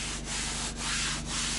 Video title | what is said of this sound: W-O-W! ...SO GOOD! (Sanding & Finishing Cabinet Drawers) | how the grain will jump up if you just hit it with a little bit of water and listen to that